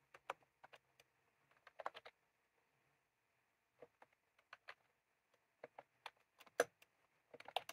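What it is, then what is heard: Plastic round-key keyboard being typed on. Fingertips type on a white/cream plastic retro keyboard with round keycaps, with a small clip microphone lying on the keys untouched. About eighteen short, dry plastic clicks come in irregular bursts and pauses, some louder and brighter than others, over a faint steady hiss.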